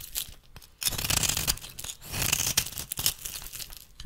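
A metal blade shaves flakes from the corner of a solid rectangular bar of rancid, cream-colored soap held in the hand. After a quiet start, bright, crackly scraping and tearing sounds come in uneven, rapid bursts, with crisp flakes crumbling away.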